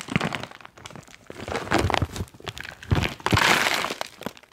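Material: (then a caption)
Plastic foil. A foil-lined plastic magnesium chalk pouch is held up and waved close by, then crinkled with the fingers. Irregular bursts of crisp crinkling and crackling mix with soft low thumps, building to a dense, bright rustle near the end before fading.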